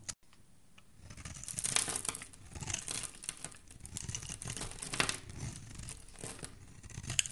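A solid green oval soap bar held in the hand has its edge shaved and scraped with a metal utility blade, sending green shavings falling. The sound is a steady run of bright, crisp scraping and crackly shaving strokes with dry, short attacks and no ring, rising and falling in intensity throughout.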